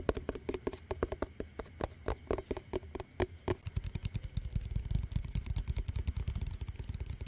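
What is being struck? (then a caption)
Plastic tub with lid. A hollow yellow plastic tub with its lid on is tapped fast on the lid and sides with the fingertips and nails. For the first few seconds, sharp, separate clicky taps carry a short hollow ring in the low-mid range. The tapping then turns into a denser, quicker run of dull, low, drum-like thuds that die away almost at once.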